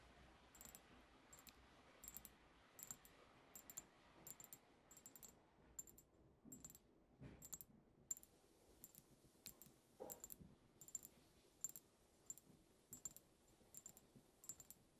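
Long acrylic nails on one hand tap near the cap of a tall, cylindrical, dark-tinted glass perfume bottle holding liquid. The result is a steady series of short, bright clicks, some in quick pairs, each with a faint high glassy ring that dies away almost at once over a quiet background.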